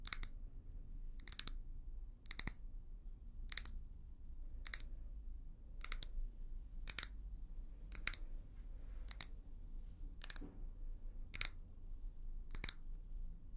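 A small hollow amber glass tumbler or candle holder with a brown leopard print, held in the hand, is tapped and scratched with long manicured nails. Twelve evenly spaced, sharp, bright double-clicks sound over a low, steady background rumble. Each click cuts off almost instantly.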